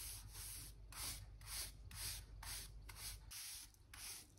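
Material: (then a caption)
Wood. A hand brush with a black handle and pale stiff bristles sweeps and rubs dirt and dust from between the planks of a solid old wooden floor by a wall. Nine bright, scratchy bristle strokes come in a loose, steady rhythm over a low, constant rumble.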